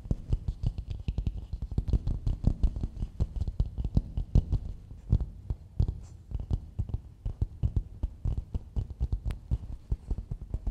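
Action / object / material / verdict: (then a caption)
tap / coconut shell bowl / coconut shell / none. A medium, hollow, empty polished coconut shell bowl is held upside down and tapped and scratched on its outer dome with the long nails of both hands. Rapid, irregular, dull low thumps and knocks come in quick flurries, each dying almost instantly, with faint scratchy texture between them.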